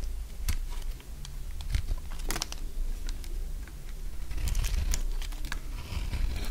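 A solid, dry, beige stamped soap bar held in one hand has its surface scraped and shaved into curls with a metal utility blade. Dry, crunchy scraping and crackling come in short bursts with sharp, bright clicks over a steady low rumble. The crunching grows denser and louder toward the end.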